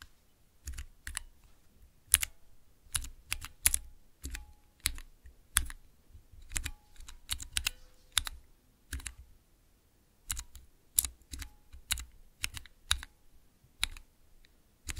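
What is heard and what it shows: Fingertips with long nails press and tap the keys of a small clear acrylic 9-key mechanical keypad fitted with colored Cherry MX switches. It makes a steady run of sharp, bright plastic clacks with a soft low thump under each, every click dying out almost instantly, with short pauses between bursts.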